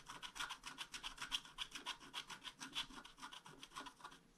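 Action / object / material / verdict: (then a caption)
scrape / scratch-art paper sheet scraped with a wooden stylus / coated paper / none. A wooden stylus scratches the upper dragon wing on a flat scratch-art card page, making a quick series of dry, bright rasping strokes. The strokes repeat at a fast, uneven pace and fade slightly toward the end.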